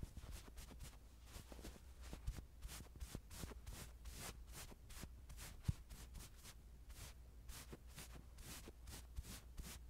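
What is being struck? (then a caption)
Plush toy fur. The metal mesh head of a mini handheld microphone is rubbed and brushed across the fur of a small, soft, stuffed white plush toy doll held in one hand. Quiet, repeated swishing strokes carry airy, bright rustling over a steady low hum, with a few slightly louder scuffs.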